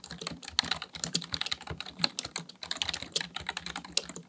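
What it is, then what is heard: Plastic computer keyboard being typed on. Fingertips type rapidly on the keys of a black plastic full-size computer keyboard resting on a desk. A fast, uneven stream of sharp, bright plastic clicks and clacks follows, each dying away almost instantly with little low-end weight.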